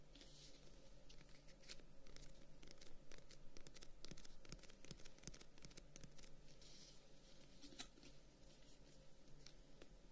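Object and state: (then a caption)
Closed wooden folding fan. A closed Chinese folding fan, about 25 cm long and held as a solid bundle in one hand, with dark wooden guard sticks and a pale paper or slat edge, is tapped and scratched along its wooden guard with short fingernails and fingertips. Quiet, irregular, dry clicks and brief bright scratches patter across the clip and die away almost instantly, over a steady low hum.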